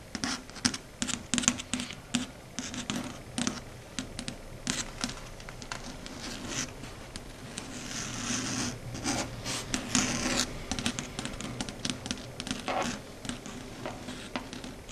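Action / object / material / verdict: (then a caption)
scrape / chalkboard surface / unknown / none. Long red stiletto nails scratch and tap across the flat matte dark grey surface of a chalkboard. The result is a dense run of quick, bright clicks and scrapes over a faint steady low hum, with a louder stretch of continuous scratching in the middle.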